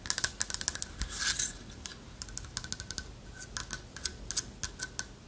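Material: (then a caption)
Wood. Long nails tap and scratch the surface of a hand-carved, partly hollow owl figurine made of light wood with a lattice-cut body. The result is a rapid series of crisp, bright clicks, with a brief scratching rasp just after the first second.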